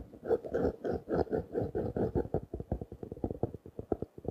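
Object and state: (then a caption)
Plastic-wrapped notebook. A small blue notebook in clear plastic wrap, held in one hand, is tapped with a fingertip and nails. Quick, dry taps come in a rapid run, blurring together at first and then separating into sharper, distinct clicks. The sound stays in the low and middle range with almost no ring after each tap.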